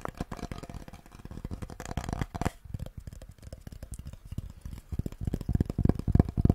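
A solid, flat wooden cutting board with a handle and hang hole is held in both hands close to a furry microphone while fingertips and nails tap and scratch its face. Rapid, uneven dry taps give low, dull knocks with almost no ring, mixed with soft scratching. The tapping eases into a quieter stretch midway, then builds back to its loudest, densest taps at the end.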